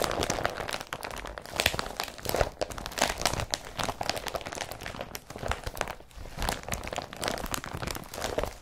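Fingers rub and pat an empty blue IKEA BRATTBY carrier bag made of woven polypropylene as it lies flat. The result is a steady stream of dry, scratchy crinkling and rustling with bright, crisp edges, broken by soft dull pats that thump low and stop almost at once.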